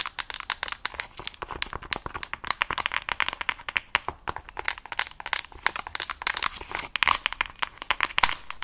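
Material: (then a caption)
Plastic. Long nails rapidly tap and scratch across a mint plastic case with stickers on a Nintendo Switch Lite. The result is a dense run of dry, bright clicks mixed with scratchy rubbing, carrying almost no low end and dying away quickly after each tap.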